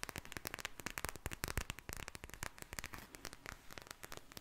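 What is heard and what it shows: A handheld pink soft plastic eye mask filled with gel beads is squished and tapped with long nails and fingertips. The result is a rapid series of sharp, dry clicks and crackles with very short decay over a quiet, low rumbling background, bright in the high end.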